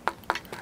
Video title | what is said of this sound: Sechs Richtige fürs Zander-Jiggen | Hat also keinen EVA-Griff, sondern hier ein Vollcarbon-Griffstück unten. Das hört man also auch, wenn man draufklopft.